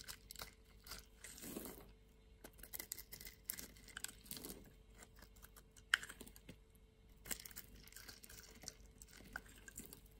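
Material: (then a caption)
Soap. A utility knife cuts scored cubes from a solid bar of white soap held in the hand, and the pieces crumble away. Quiet, dry scraping and crunching comes in many short crackling bursts, with a few soft swishing strokes and one sharper snap partway through.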